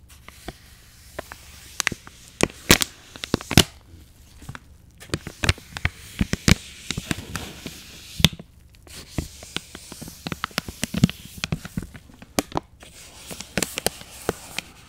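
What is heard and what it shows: An angled paintbrush is brushed over the hard plastic flip lid and soft plastic pouch of a partly full package of face wipes. The result is a stream of dry, crackling bristle scrapes with sharp, bright plastic ticks and crinkles, like small firecracker pops, over a faint steady low hum. The bursts come irregularly across the clip, separated by brief near-quiet gaps.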